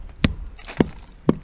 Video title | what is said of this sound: Dropping A Hickory Schoolmarm Snag; Nice, Dry Wood! | down in here, listen to the difference. Punky, vibrates